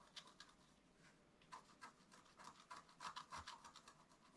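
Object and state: Scratch art paper being scratched.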